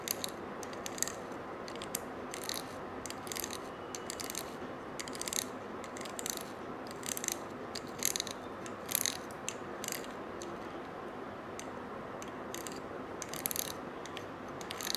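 A stiff-bristled brush scratches along the coils of a small gold-colored coiled wire bangle held in one hand. It makes quick bursts of bright, ratchet-like rasping clicks over a steady, soft midrange hiss, with no ringing after each stroke.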